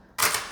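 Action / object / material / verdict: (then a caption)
drop / leather handbag with metal chain and hardware set down on a table / metal, leather / noisy. A Chanel-style leather handbag with metal chain hardware is set down on a table, giving a single bright metallic clack that fades over about a quarter second. This clacking is the noise that made such bags unwelcome in court.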